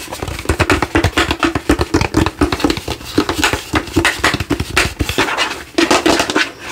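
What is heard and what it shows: Fingertips and nails tap rapidly on the face and sides of a hollow translucent plastic light-up skull lamp held in both hands. The result is a fast, uneven stream of dry, hollow plastic clicks and knocks with a low resonant body and bright nail ticks, each dying away almost instantly.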